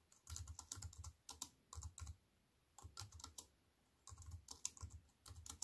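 A slim wireless keyboard with a silver aluminium frame and black plastic chiclet keys, resting on a wooden table, is typed on with fingertips with long white-painted nails. Bursts of rapid, bright clicking keystrokes with a low thump under each press are separated by short quiet pauses.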